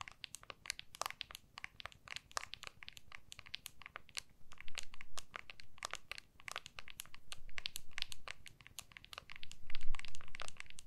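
An iPhone in a clear hard plastic MagSafe case is held in both hands, back facing out, while long nails tap and scratch the case back. Quick, bright, irregular clicks and taps come in dense bursts, over a soft low rumble that swells at times.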